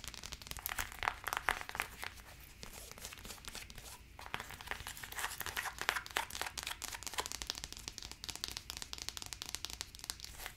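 Long acrylic nails quickly tap and scratch the branded insole and wide strap of a single black faux leather high-heeled slide sandal held up close. The result is a dense, continuous stream of crisp, bright clicks and dry, crinkly scratching with short, sharp transients and almost no low end.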